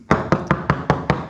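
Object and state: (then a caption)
Sound wooden boat hull planking. Six evenly spaced knocks on a wooden boat hull plank, tapped at a spot next to a bad area. Each knock is a solid, low thud with a short ring that dies out quickly, and this part of the planking sounds fine.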